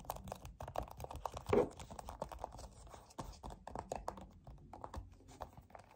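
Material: Plastic.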